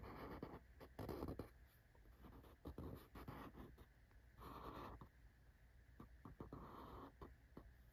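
A fingertip with a short nail scratches and taps across the printed top face of a small, closed corrugated cardboard shipping box with a printed Well.ca logo, held in one hand. Quiet, dry scratching strokes and soft, short taps come in uneven bursts over a faint, steady low hum.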